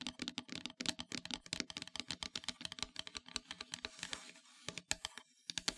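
Long metallic nails tap quickly across a flat, solid, dark painted wooden heart-shaped plaque, making a dense run of dry, bright clicks with almost no low end and no ring. Near the middle the taps give way to a short, continuous scratchy rustle before the quick tapping resumes.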